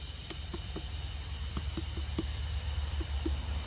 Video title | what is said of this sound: This is a Watermelon Variety That Gardeners Should Try - Harvesting and Taste Testing Watermelon | It sounds good too. Sounds ripe to me